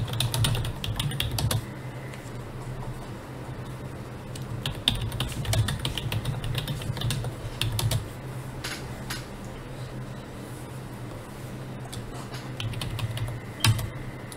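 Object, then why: Plastic computer keyboard. Both hands type with their fingertips on a full-size black plastic computer keyboard resting on a desk, producing steady, bright key clicks over a constant low hum. The typing comes in busier bursts at the start, in the middle and near the end, with a sharper click just before it stops.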